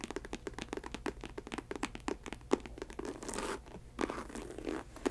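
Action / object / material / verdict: scrape / synthetic leather ankle boot / synthetic leather / none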